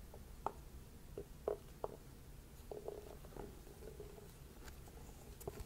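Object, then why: Small whole pumpkin. A small, whole orange red kuri pumpkin with its stem, partly hollow and held in one hand, is tapped with a wooden stick mallet that has a round wooden ball head. The taps are soft, hollow, mid-pitched knocks that stop almost at once, spread unevenly across the clip. Quieter scraping of the stick runs between them over a low, rumbling background.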